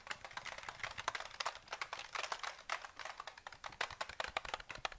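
Fingertips tap the keys of a KLIM black plastic mechanical keyboard with a grey frame and hollow housing, held in both hands and then tilted. A quick, uneven run of short, dry plastic clicks is heard, bright and centered around 1 kHz with almost no low end. Each tap dies away almost instantly.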